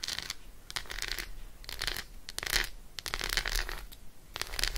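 Long acrylic nails rapidly scratch and tap the embossed surface of an unwrapped Roshen milk chocolate bar, a solid segmented slab held in one hand. Bursts of fast, dry, bright clicking and scratching come in quick clusters with short pauses between them. Each tap dies away almost instantly over a faint low rumble.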